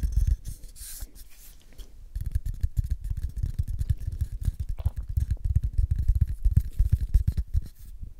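Fingernails scratch and fingertips tap along the side and open end of a small, hollow, empty brown cardboard tube. A bright, hissy scratching opens the clip, then a dense, uneven run of dull, low, hollow taps follows close to the ear.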